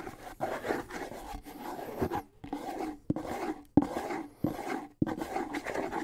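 Fingertips and nails scratch across a small hollow bongo with a wooden shell and a skin head, held in both hands. Soft, dry rasping and rubbing sounds with a low-mid hollow tone come in uneven bursts. A few sharper clicks stand out among them.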